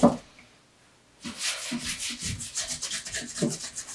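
A bare palm rubs and polishes the upper of a dark brown pebbled leather Allen Edmonds MacNeil wingtip shoe with a shoe tree inside. A short soft thump is followed by about a second of near silence. Then steady, rhythmic, bright brushing strokes swish back and forth, each with a muffled low bump.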